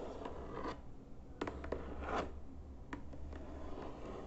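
Fingertips and nails tap and scratch on the top surface of a hollow white cardboard box with printed lettering on the lid. Soft, dull taps and dry scratching rise over a low, steady rumble. The sharp taps are short and stop almost at once, with no ring.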